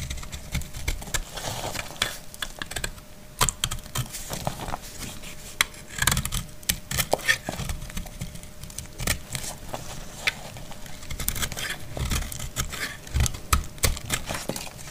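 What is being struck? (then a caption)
Bar of household soap. A metal utility blade shaves a solid, dry brown household soap bar, peeling off brittle curls. Rapid, dry crackling scrapes and sharp crisp clicks with bright edges repeat steadily over a low rumble, each one dying away almost instantly.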